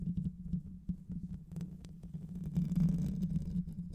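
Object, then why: Metal mesh microphone grille. Long white nails and fingertips scratch fast at the hollow metal mesh grille of a black microphone, using both hands. The result is a dense, rapid low rumble of scratches centered around 160–200 Hz, with faint bright crackles on top that swell louder toward the end.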